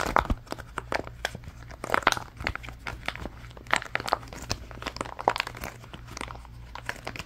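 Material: Silicone.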